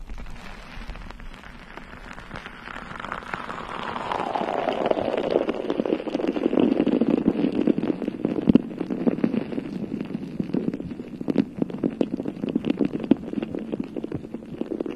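Long nails and fingertips of both hands scratch and tap the bare, hollow, round metal mesh head of a rhinestone-covered microphone. A dense, crackling texture of scratches and quick taps builds and grows louder. A hollow tone slides down from a mid pitch to a low hum around 250 Hz over the first six seconds, then holds under the steady scratching.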